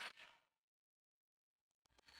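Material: Nothing is struck.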